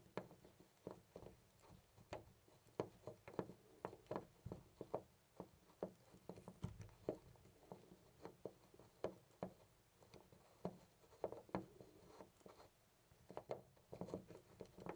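A small, loose brass-colored metal door knob on a white panel door is held with the fingertips and jiggled in place. It makes a quiet, irregular series of short, dull clicks and rattles, mostly low and mid in tone, with almost no ring after each tap.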